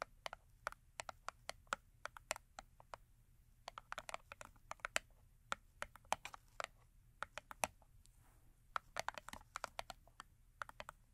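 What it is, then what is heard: Cardboard soap box. Long acrylic nails tap and scratch the top edge of a small paperboard Yardley rose & rhubarb soap box lying on fur. The result is a quiet, rapid stream of dozens of sharp, dry clicks with almost no ring, centered in the midrange with bright tips and very little low end. Soft scratching fills some of the gaps between taps.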